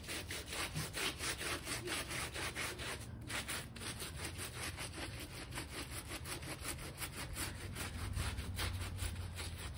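A small plastic bristle brush scrubs along the top edge of a small, damp, shaggy textile bath rug with fringe rows, once light pink and now gone gray, resting on a foam mat. Quick, steady back-and-forth strokes make a continuous rasping, swishing scrub with a bright hiss over a soft low rumble, holding an even level throughout.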